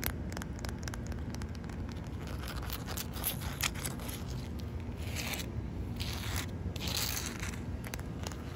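Long white nails scratch and tap a large, solid, wet concrete surface at the edge of a wet patch. The result is a steady run of gritty scrapes and quick clicks with bright crackly edges, over a constant low rumble.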